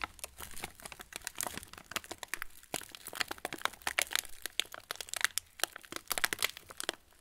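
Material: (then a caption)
Plastic. An opened, hand-sized yellow plastic TUC cracker wrapper, partly full of crackers, is squeezed and crinkled with the fingertips of both hands. It makes a steady stream of bright, dry crinkles and sharp crackles with little low end, each snap dying away almost instantly. The crackling comes in busy bursts of varying strength across the clip.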